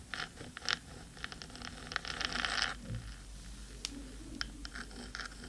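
Long pointed nails of both hands scratch the black metal top of a 3Dio microphone's hollow housing. Quick, bright scrapes and ticks come in scattered bursts, with a denser stretch of continuous scratching in the middle, over a faint low rumble. Each stroke stops almost instantly with no ring.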